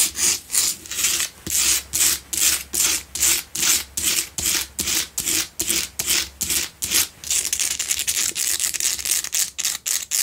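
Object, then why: Salt block candle holder. Long nails scratch back and forth across the rough face and sides of a lit pink Himalayan salt double candle holder made of solid salt. The result is a fast, uneven series of bright, gritty rasping strokes, roughly two to three per second. Each stroke is a hissy burst with almost no low end.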